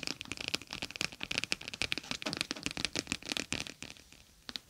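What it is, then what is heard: Gel bead pouch tapped and scratched. Long acrylic nails tap and scratch across a palm-sized clear plastic pouch filled with small gel beads, a gel bead eye mask lying over 3Dio microphone ears. It makes a rapid, irregular stream of crisp clicks and crinkly scratches that are bright and high with almost no low end. The taps thin out briefly near the end before one more flick.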